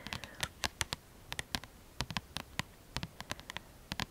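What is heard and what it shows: Long, lilac-painted manicured nails rapidly tap and scratch on the glossy card front cover of a mid-size paperback book, "Mon guide de Lithothérapie," with a solid paper block, held upright in both hands. About 22 short, dry, bright clicks with faint scratching between them die away almost instantly over a low, quiet background.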